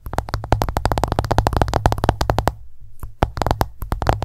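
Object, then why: Smartphone glass screen. Long nails tap rapidly on the glass screen of an iPhone lying flat, making a fast run of short, dry clicks with a soft low thud beneath each one. The tapping thins to quieter taps for a moment near the middle, then picks back up at full speed.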